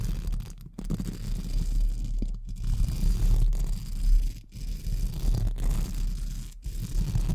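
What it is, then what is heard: Metal mesh microphone grille being brushed. Pink spoolie brushes held in fingertips are scratched over a hollow metal mesh microphone grille, producing a dense, low, rumbling scrape with bristly texture. The brushing runs in continuous strokes broken by brief gaps of near-silence.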